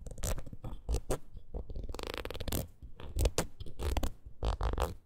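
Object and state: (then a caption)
Rubber wood-graining tool scratched with nails. Long nails scratch and tap the ridged surface of a red rubber wood-graining rocker. The result is an irregular run of short, dry, raspy scrapes and soft taps, with heavy low-end thump and brief high, bright scratching bursts that stop quickly without ringing.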